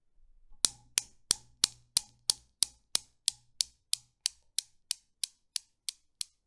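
A hand pulls back an end ball of a Newton's cradle with solid chrome steel balls and lets it knock into the row. Eighteen sharp, bright metallic clicks follow at a steady pace of about three per second, each dying away almost instantly. The clicks grow gradually quieter as the swing settles.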